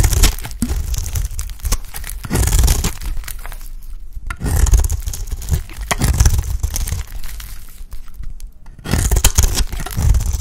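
A utility blade shaves curls from a dry, oval, solid pink soap bar held in the hand. Each stroke produces a crisp, crunchy scraping and tearing sound that comes in repeated bursts, with short quieter gaps between passes. The sound is mostly low and dry, with little ring.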